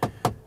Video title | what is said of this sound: Mercedes GLC vs Audi Q5 SUV comparison REVIEW | this inlay here seems a bit hollow if I tap it